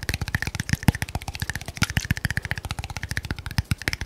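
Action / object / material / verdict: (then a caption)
tap / small glass bottle / glass / none. A small, cylindrical red glass bottle with a label, which appears filled, is held in one hand close to the mic and tapped quickly with the fingernails. It produces a rapid, steady run of 29 short, dry taps, each with a low thump and a faint bright glassy ping near 2 kHz that dies away almost instantly.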